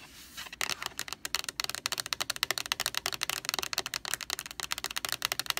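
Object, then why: Plastic laundry sanitizer jug. Long nails tap rapidly on the label of a large white plastic Lysol laundry sanitizer jug, then on its bare white plastic body. After a brief soft rustle, about thirty quick, dry, bright clicks follow with no ring between them, sounding much like fast typing.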